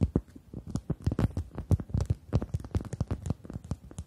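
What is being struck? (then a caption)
Rubber chicken toy. A pink-red rubber chicken toy is held upright in both hands while long acrylic nails tap and scratch its surface. The result is a quick, uneven run of soft, dull, low thumps mixed with faint scratchy rustles, each tap dying away almost at once.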